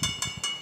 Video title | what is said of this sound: ఈ గుడికి వెళ్తే శివుడు మీ జీవితాన్నే మార్చేస్తాడు ! - Mystery of Chaya Someshwara Temple - iDream | మనకు కాయిన్ కొట్టినట్టయితే మనకు శబ్దం వస్తుంది మేడం. ఇక్కడ మనకు మెటల్ సౌండ్స్ గంట టైం కూడా వస్తుంది